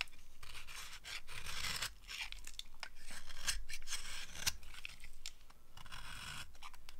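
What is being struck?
Bar of soap carved with a blade.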